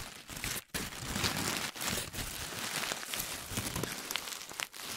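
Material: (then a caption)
Paper. A hand-sized, loosely packed ball of crumpled paper is squeezed and rubbed with the fingertips. The result is dense, bright crinkling and crackling that runs almost continuously, with brief quiet gaps near 0.7 and 4.7 seconds.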